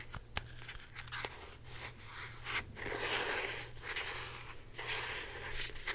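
Long painted nails scratch a hand-sized, hollow blue plastic Secret deodorant stick with a cap, held in both hands. Dry, bright scraping swells in waves, broken by a few sharp plastic clicks, over a steady low hum.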